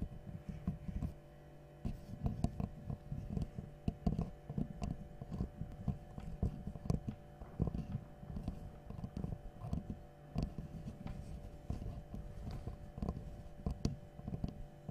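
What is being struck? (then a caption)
Small wooden L-shaped angle piece. A small, light, solid wooden L-shaped angle piece, held in both hands, is tapped and scratched with long nails. Soft, dull, low taps with almost no ring come in quick, irregular clusters. Brief bright scratching clicks sit over a faint steady hum.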